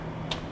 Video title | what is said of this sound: Virtual Open House 29 - Tour of Faisal Rashid's Residence in Lahore, Designed by SRDW & Co-Lab | Yeah, the hollow sound. Now you know it's steel, not wrapped concrete.